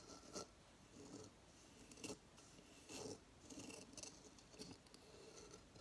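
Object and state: Coconut shell hideout being scratched.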